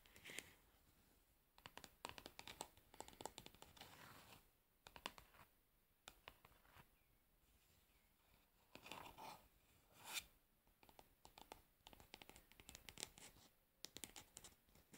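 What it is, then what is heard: Plastic cosmetic jar. Long nails tap and scratch the pink plastic lid of a plastic cosmetic pad jar as it is held and tilted. Quiet, bright bursts of scratchy, crinkly texture alternate with quick, dry clicking taps that die away almost instantly, with soft pauses in between.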